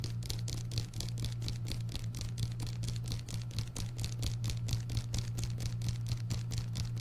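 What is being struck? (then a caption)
Paperback book with paper cover. Fingernails tap rapidly on the paper cover and spine of an orange paperback book held beside the microphone. The result is a fast, uneven stream of light, crisp, bright clicks over a steady low hum.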